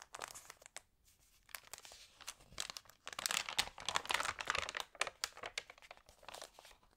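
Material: Paper.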